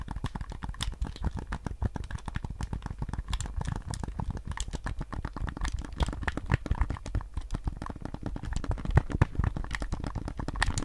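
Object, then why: Hard plastic game controller. A white PS5 DualSense controller with a hollow hard plastic shell, handheld size, is held in both hands while fingertips tap and press its buttons. A rapid, continuous stream of dry plastic clicks and taps is heard, each one sharp and extremely short with almost no ring, and the sound is weighted heavily toward the low end.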